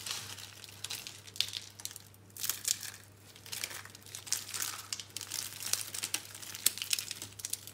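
Fingers press, break and crush green and pink rolled curls of dry, solid, brittle soap into a growing pile of crumbs. Close, bright crackling and crunching bursts come in quick clusters with short pauses, each snap dying away almost instantly.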